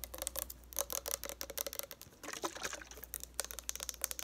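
Long nails tap rapidly along a partly full, lavender-colored plastic Neutrogena makeup remover bottle. The result is a quick, uneven run of sharp, bright clicks with almost no ring, over a faint low hum.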